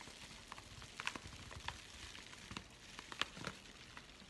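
A flat, empty yellow kraft padded bubble envelope is held in both hands, crinkled and scratched with the fingers. A quiet, steady papery hiss runs throughout, broken by scattered sharp, bright crackles and ticks at an uneven pace.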